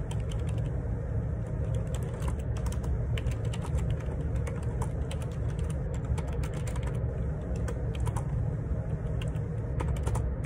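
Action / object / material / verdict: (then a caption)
tap / plastic computer keyboard / plastic / none. Fingertips type steadily on the plastic keycaps of a black plastic Perixx Periboard 612 wireless Bluetooth ergonomic split keyboard with a hollow housing, lying on a grey laminate desk. Quick, light clicks and taps run continuously over a constant deep, low rumble, possibly faint background vehicle noise.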